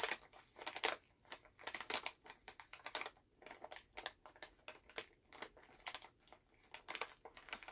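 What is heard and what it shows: A full Halls plastic cough drop bag is held in both hands while fingers crinkle and tap it. Irregular bursts of bright, crackly crinkling alternate with short soft taps. The clip is quiet and close, with no low end.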